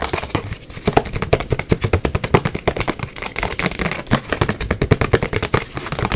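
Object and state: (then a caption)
Hollow cardboard box. A small, hollow white cardboard gift box with a rose print is tapped fast and aggressively and scratched with long acrylic nails. A rapid, irregular stream of sharp, dry taps with hollow low thumps and bright clicking edges fills the clip, with scratchy rustles between hits. Each tap dies away almost instantly.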